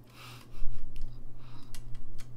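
Fingertips click the keys of a gold-lacquered brass saxophone held low. After a quiet start, soft, dry key clicks and pad taps with bright edges come at an uneven pace over a steady low hum.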